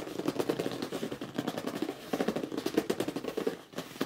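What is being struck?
Cardboard box.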